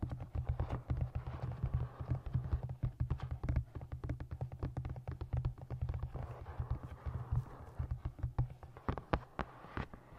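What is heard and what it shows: Long nails and fingertips tap rapidly on the cover and top of a solid navy moth-print hardcover book with a printed blue cover. The result is a dense stream of short, dry taps with a deep, thumpy low end and sharp clicks that die away almost instantly.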